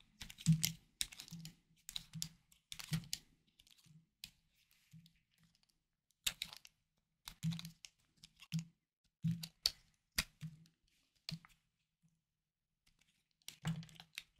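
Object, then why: Bar of soap cut with a small knife. A hard, palm-sized blue-lilac bar of soap, held in the hand, is carved and scraped with a small knife blade, sending flakes onto a wooden board. Short, crisp, crunchy scraping strokes come in quick clusters separated by brief pauses, each with a dull low body and a bright, dry crackle that stops almost instantly.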